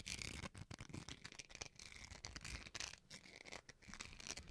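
Fingernails scratch the textured face of a small, solid white plastic rice spoon (rice paddle). The result is a quiet, dense, bright rasping with rapid, uneven bursts of scratchy texture centered around 2.3 kHz, over a faint low rumble.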